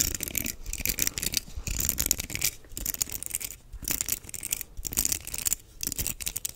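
Fingertips scratch and flick across the bristles of a black plastic paddle hairbrush with a perforated back. The result is a bright, crackly, rattling texture in dense bursts, broken by a few short pauses.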